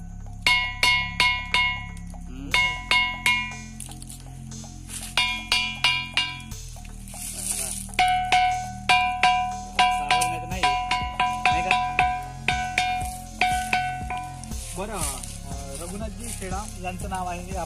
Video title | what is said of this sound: वाजणारा अद्भुत दगड: Ringing stone in Savargaon, Gadchiroli | मंदिर किंवा शाळेच्या घंटे सारखा आवाज या दगडातून येतो